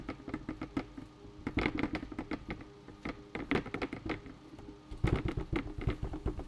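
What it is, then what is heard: Bucket. A bucket is tapped in quick, uneven bursts of light knocks. The taps are low and hollow, with a short ring that fades almost at once. The rhythm varies, with some louder clusters and a busier stretch near the end.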